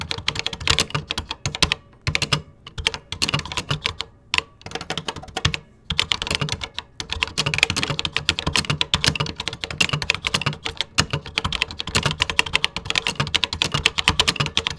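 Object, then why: Plastic computer keyboard. Fingertips type steadily on a vintage 1980s plastic computer keyboard with cream plastic keycaps, producing rapid, bright, clicky keystrokes with short dry ticks and a faint low thud beneath. The typing runs in quick bursts with brief pauses near the start, then settles into a continuous, even rhythm.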